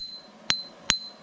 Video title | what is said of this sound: Millwrights views and opinion regarding donations | if the wheel was cracked it would go thud thud not that